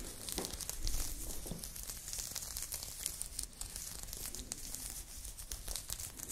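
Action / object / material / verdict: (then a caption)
scrape / crochet knit fabric top / knit yarn / none. Long nails scratch a blue crochet knit top being worn, moving across the chest and shoulder. A steady, dense crinkling scratch with bright hissy texture runs throughout, over a soft low rumble and many small overlapping scrapes.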